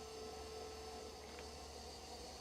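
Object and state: Nothing is struck.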